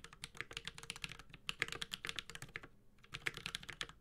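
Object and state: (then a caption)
Mechanical keyboard with plastic keycaps and metal case. Continuous fingertip typing with both hands on a 65% Space65 Cybervoyager mechanical keyboard with a metal case, Holy Panda switches and ABS plastic keycaps. Many short, bright clicky clacks run in quick succession with a brief pause near the end, each dying away almost instantly over a faint low hum.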